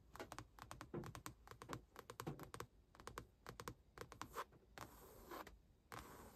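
Long acrylic nails tap and scratch a padded car center console armrest covered in grey stitched faux leather over a hollow console lid. Quick, dull, clicky taps come in rapid bursts, followed by softer, hissing scratches across the surface near the end.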